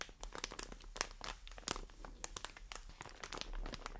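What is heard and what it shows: A medium white plastic film bag full of cotton pads is held in the hands and scratched and squeezed with long dark nails and fingertips. Dense, bright crinkling and crackling snaps come in quick, irregular bursts over a soft low rumble, each snap dying away at once.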